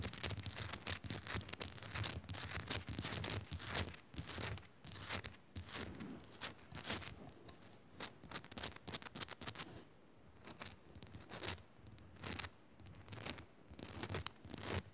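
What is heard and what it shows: Long nails quickly scratch and tap a small, solid pink rock-salt crystal, a pink Himalayan salt lamp. Dense bursts of bright, crackly scratching come in rapid strokes, with sharp short taps among them. A brief lull falls near the ten-second mark before the scratching picks up again.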